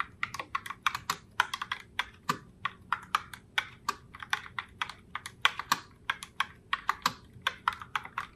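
Long fingernails type continuously on a pink Logitech Pop Keys mechanical keyboard in the Heartbreaker Rose color, striking its round plastic keycaps. About forty sharp, bright clacks come in a quick, uneven rhythm, each cutting off almost at once and centered around 1.4 kHz. There is almost no low end.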